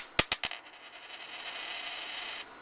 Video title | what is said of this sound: JP Morgan reacts to CRASH JP MORGAN campaign | do you hear that ring no I didn't hear a ring